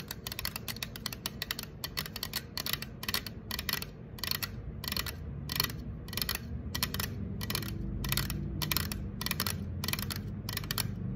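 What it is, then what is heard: Aluminum soda can. Long acrylic nails tap and scratch the side of an unopened, apparently full, green 355 mL Sprite aluminum can standing on a counter. A rapid, uneven series of sharp, bright metallic clicks comes with scratchy rasps, each dying away almost at once, over a steady low rumble.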